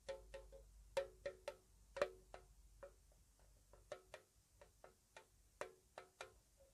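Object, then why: Small metal tea tin with lid. Long nails slowly tap a small, square, white-painted metal tea tin, hollow with its lid on. Fifteen soft, irregularly spaced taps give short, bright clicks with a brief hollow metallic ring around 580 Hz.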